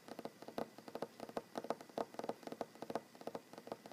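Fingernails of one hand tap quickly on a large solid wooden tabletop, making 23 quiet, dry clicks in uneven bursts. Each tap is short and woody, centered in the midrange around 670 Hz, with almost no low rumble or ring.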